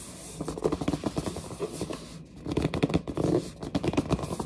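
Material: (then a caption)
Cardboard. Long nails and fingertips grip and scratch a large, hollow, glossy printed cardboard headset box. Dense bursts of dry scratching and scraping come in clustered strokes, with a low hollow body, little high-end brightness, and a brief pause midway.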